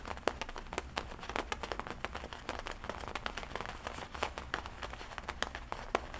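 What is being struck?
Leather jacket.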